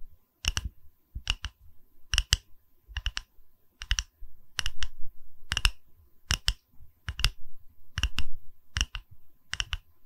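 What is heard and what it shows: Long red nails tap and lightly scratch a small, solid round wooden log slice pedestal with a bark rim, cradled in both hands. Crisp, dry clicks come in quick doubled bursts with a soft low thump under each, and every click dies almost instantly.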